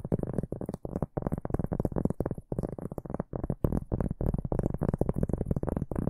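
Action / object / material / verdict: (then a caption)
scrape / pressed cork board / cork / none. A large, round, flat board or trivet of thin, solid pressed cork is held upright in both hands while fingertips and short nails scratch and tap its front surface. The result is a rapid run of dull, muffled, low-heavy scratching bursts that stop almost at once, with a faint high hiss above them.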